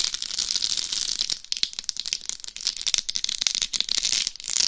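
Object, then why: Rhinestone-studded hard shell of a dummy head microphone. Long nails scratch across the top and sides of a life-size binaural dummy head microphone covered in rhinestones over a hard shell. The result is a dense, bright, crackling scratch full of rapid crisp clicks and rattles, with almost no low end.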